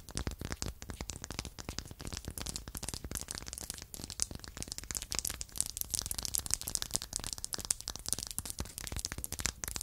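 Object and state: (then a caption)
Light wooden block tapped with nails. Two identical small, solid, light wooden blocks are held in the hand and tapped and scratched along their faces and edges with long acrylic nails. The result is a dense, continuous stream of quick, dry clicks and scratchy, crackling scrapes with a bright, high hiss and almost no ring.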